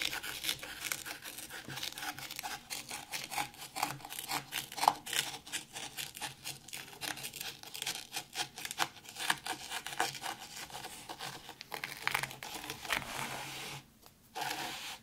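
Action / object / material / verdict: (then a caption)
scrape / fine sand in a shallow tray / sand / none. Both hands with very long pointed red nails scratch and rake through fine white sand in a round black zen garden tray. Dense, bright, gritty rasping and crinkly scraping strokes run close together for about fifteen seconds, with one brief quieter gap near the end before the scratching resumes.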